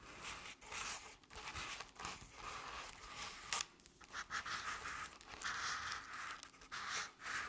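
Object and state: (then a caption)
Crepe-paper covered decorative pumpkin. Long nail tips scratch the crepe-paper sides of a paper-covered decorative pumpkin near its base. The result is a string of dry, papery rasping strokes with a bright, hissy texture and little low end, rising and falling in uneven bursts.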